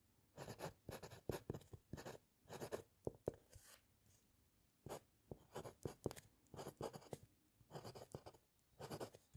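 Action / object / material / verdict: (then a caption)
scrape / metal pen nib on paper sheet over wooden clipboard / paper / none. A metal fountain pen nib scratches across a white paper sheet resting on a flat, solid wooden clipboard during steady handwriting. Short, quiet bursts of dry, papery scratching come in quick strokes, separated by brief silent pauses. The sound is soft and mid-toned, with little bright content.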